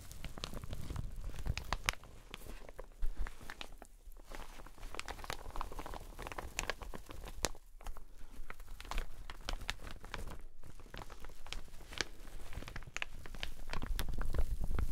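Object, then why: Satin shower cap. An empty teal satin shower cap is held up and stretched while fingers and long nails rub and crinkle the fabric. The result is a steady, dense run of soft crinkling and rustling with many quick, short crackles over a low rumbling bed.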